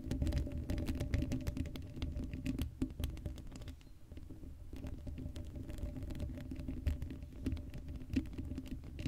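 Long blue acrylic nails on both hands scratch across the black woven metal mesh grille of a hollow Blue Yeti microphone head with no foam cover. The result is a dense, rapid patter of scratchy taps with a deep, boomy low end and little brightness. It eases briefly around the middle before picking back up.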